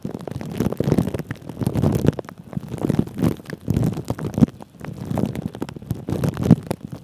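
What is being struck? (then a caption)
Plastic cling film over a microphone head. Fingertips of both hands rub, crinkle and scratch clear plastic cling film wrapped over a microphone's mesh head. The result is a dense, muffled crackling and rustling, concentrated in the low and low-mid range with little high end. It swells and fades in repeated waves of rubbing.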